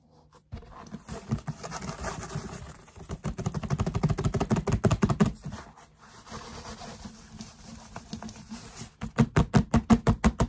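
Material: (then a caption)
Foam. Fingertips and short nails quickly tap and scratch over the textured surface of a large grey foam yoga mat. The mat is rolled into a hollow cylinder with a black strap and a paper label. Dense, muffled low taps and dry scratching build into fast bursts, then ease off before a final run of sharper, evenly spaced taps.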